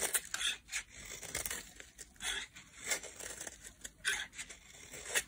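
A metal utility blade carves a solid, palm-sized bar of pink translucent soap, shaving off thin curls. Repeated dry, bright scraping and cutting strokes come in quick bursts with almost no low end. Each stroke stops short with no ring.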